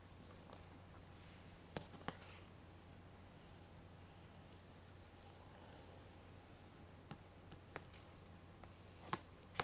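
A small hollow plastic DVD case is held upright in one hand while a thin twisted plastic stick scratches and taps its back cover, with some fingernail contact. Scattered sharp, bright clicks stand out from soft scratching over a steady low hum, with quiet stretches in between.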